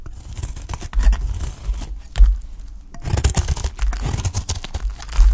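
A utility knife blade cuts and scrapes thin slices off a solid, dry, cream-colored piece of soap held in the fingers. The clip is a dense run of short, crisp scraping and crackling strokes with bright edges over a heavy low rumble. A louder cut lands near the middle and again at the end.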